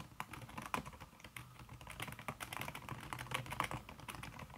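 A thin backlit aluminium keyboard with plastic keys under a red silicone skin is typed on fast with the fingertips and long red-painted nails. Dense, rapid tapping runs throughout, with short, muffled clicks and a soft low thud beneath each stroke.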